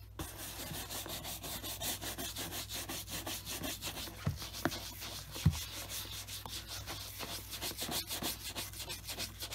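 A black leather Scotch Grain wingtip dress shoe, hollow with a wooden shoe tree inside and resting on a desk mat, is brushed back and forth with a wooden-backed horsehair brush. Steady, rhythmic bristly rubbing strokes carry a bright hiss over a constant low hum. A few sharper knocks stand out near the middle.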